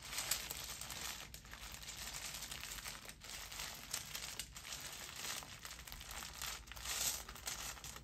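A yellow, banana-shaped zippered fabric Bananagrams pouch, apparently holding game tiles, is held in the hand and squeezed, scratched and rubbed with the fingertips. This makes a steady, bright crinkling and rustling, with short pauses and slightly louder swells along the way.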